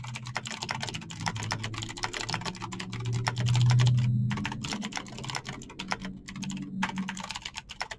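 Fingertips type fast on a Razer BlackWidow backlit plastic mechanical keyboard with clicky green switches, producing a dense, uneven stream of sharp, bright clicky taps. A low hum around 130 Hz sits underneath and swells midway through.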